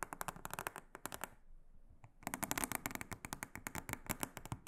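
A large, flat, solid, round blue silicone honeycomb trivet mat is brushed and scratched with a small silicone-headed brush. The result is a rapid run of short, dry, crackling strokes with bright, hissy tops. The strokes pause briefly in the middle, leaving a quiet gap near the two-second mark, then resume denser and louder.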